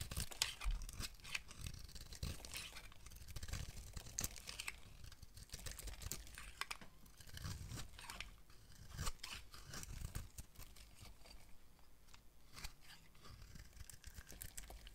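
A utility knife blade scrapes and carves curls off an oval bar of dry solid soap, white inside with a green rim, held in the hand. Dense, crisp scraping and crunching strokes overlap continuously, with bright, high shaving noise over a soft low thump from the handling.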